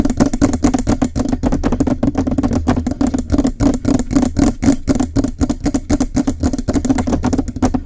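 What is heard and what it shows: Fingernails on both sides rapidly tap and scratch the hollow metal cylindrical body of a Blue Yeti microphone. About 49 quick, irregular, close-miked taps ring briefly with a hollow low-mid tone and a dull low thump, mixed with light scratching.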